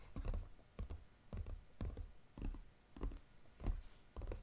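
Fingernails tap quickly on the lid of a flat brown Godiva paperboard chocolate box lying flat. The taps come in loose clusters of hollow, deep-toned thuds with almost no high end, each dying away quickly.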